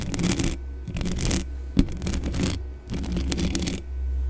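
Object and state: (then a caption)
Metal microphone grille being scratched. Long dark-painted nails and fingertips of both hands scratch and brush the bare hollow metal mesh grille of a large black Blue Yeti-style desktop condenser microphone with no foam cover. Bursts of bright, crackly scratching and rustling come and go with short quieter gaps, including one sharper tap partway through. A steady low hum runs underneath throughout.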